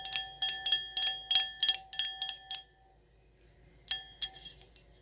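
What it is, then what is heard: Wine glass tapped with nails. Long acrylic nails tap and scratch an empty, hollow stemmed wine glass with an etched circle pattern. A quick, uneven run of bright, glassy clinks rings with a steady tone near 750 Hz and higher overtones. After a second of silence, a few more taps follow.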